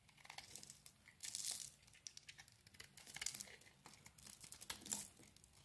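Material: Soap.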